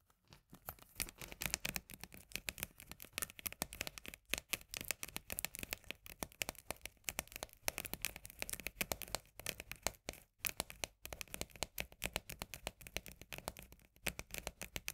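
Long fingernails rapidly tap and scratch the labeled side and rim of a small, full steel can of corn held sideways. The result is a quiet, continuous stream of dry, bright clicks and scraping with no ringing, broken by a few brief pauses.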